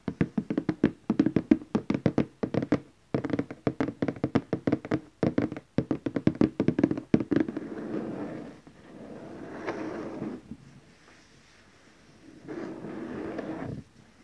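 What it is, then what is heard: Cardboard gift box. Fingertips and nails tap across the lid of a large glossy orange cardboard gift box, making quick, dry, hollow taps in fast bursts for about seven seconds. The tapping then gives way to softer, continuous brushing and scratching across the surface, a brief quiet pause, and one more short stretch of light rubbing.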